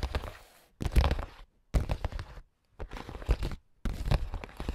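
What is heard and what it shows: AA battery tips worn on the fingers tap and scratch across a clear, translucent printed plastic makeup pouch holding small items. Five bursts of quick, crinkly plastic tapping are separated by short silences, with a dull low thump under bright rustling.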